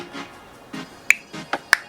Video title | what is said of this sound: Pixy Twin Blush Review - Blush On Pixy Fungsional Wajib Coba | kalau misalkan kalian udah nutup rapat produknya, dia bakalan bunyi kayak gitu